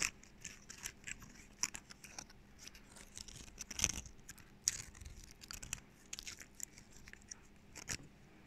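A small, dry pine cone with woody scales is held in both hands while fingernails scratch and pluck at the scales and the fingers rotate it. The result is a quiet, irregular run of sharp, bright clicks and dry scratchy crackles, each snapping off almost instantly.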